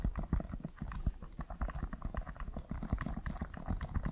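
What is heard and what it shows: Fingertips tap and rub along the side and heel of a hollow, empty black leather stiletto pump with a glossy, leather-like upper, held close to the microphone. A rapid, uneven stream of soft, dull, low-heavy thumps mixes with faint scratchy rubbing. Each tap dies away almost instantly.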